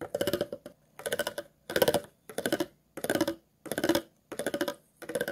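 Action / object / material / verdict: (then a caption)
scrape / empty plastic water bottle / plastic / none. A thin metal tool scrapes across the ridges of an empty, hollow, clear plastic water bottle. Eight short bursts of rapid, rattling clicks are heard, each with a hollow ring around 500 Hz and bright, crisp edges. Brief silences separate the bursts.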